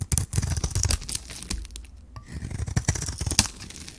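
A metal blade scrapes and shaves the surface of a hand-held solid white bar of dry soap with a magenta rim. The result is a dense run of crisp, crumbly scraping and shaving strokes with a low thud-like body and bright crackling edges. The strokes ease off briefly in the middle, then pick up again.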